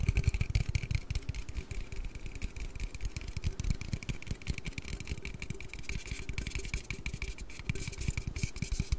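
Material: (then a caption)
Aluminium. An aluminium Red Bull energy-drink can is tapped and handled in a rapid, steady stream of soft, short taps for the full clip. The taps are mostly low and dull thuds, with a faint bright metallic tone above them and brief crisp clicks that die away instantly.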